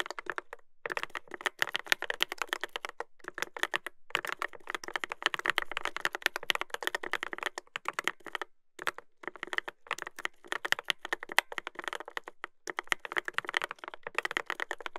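Fingertips type continuously on a Dolphin 2021 mechanical keyboard with a brass plate and plastic keycaps. Rapid, crisp clacks with a bright midrange snap stop dead at once, running in quick bursts broken by short pauses.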